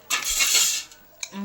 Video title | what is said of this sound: हॉटेल सारखेच मटर समोसे आणि मस्त असे चुलीवरच बनवले 😍 | हे बघा एकदम कुरकुरीत आवाज येतोय